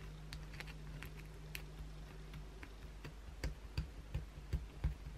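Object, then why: Soap bar scratched by acrylic nails. Long, pointed blue acrylic nails on both hands scratch across the flat face of a solid white oval bar of soap. Quick, dry, irregular scratches and taps come in bursts, growing louder and sharper toward the end. A steady low hum runs underneath.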